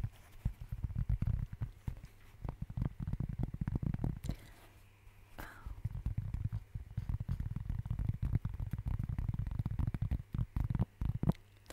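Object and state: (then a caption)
Cork board, tapped and scratched. A flat, round, light brown cork board or placemat with a textured surface, thin, solid and roughly plate-sized, is held close up and tapped and scratched across its face with the fingertips and nails of one hand. Rapid, dull, low thumping taps and soft scratches come in dense bursts, with a brief lull near the middle before the tapping resumes.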